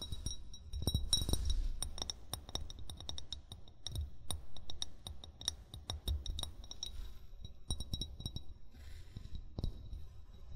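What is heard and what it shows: An upright, hollow amber glass wine bottle is tapped quickly and irregularly with short fingernails and fingertips. Each tap gives a brief, dull low thump with a bright glassy clink that fades almost at once, and the taps come in uneven bursts throughout.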